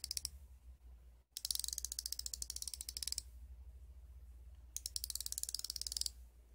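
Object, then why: Steel ratcheting wrench. A solid chrome steel combination wrench with a hinged flex ratchet head is held in one hand while the ratchet is worked back and forth and the flex head is pivoted. This gives rapid, bright, dry pawl clicking in three bursts: a brief one at the start, a long run, then another after a quiet pause. A steady low hum runs underneath throughout.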